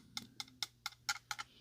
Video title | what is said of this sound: Amazon Exclusive Han Solo Carbonite Unoxing | it is a hard plastic and not die cast metal